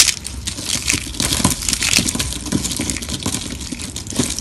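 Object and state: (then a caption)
Dry, brittle soap sheets being crushed. Both hands press and crush a pile of thin, brittle, dry pink soap sheets on marble, grinding the fragments between fingers and palms. A dense stream of bright, crackly crunches and snaps is heard, mostly high in tone with a faint low rumble underneath, continuing steadily throughout.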